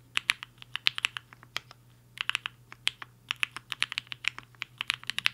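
Fingertips of both hands type fast on a compact HI-FINGER 7.5 mechanical keyboard with a black case and white and pink plastic keycaps, resting on a desk mat. About thirty crisp, bright plastic clacks come in quick bursts, with a brief pause near the two-second mark. Each keystroke stops dead with no ring, over a faint low hum.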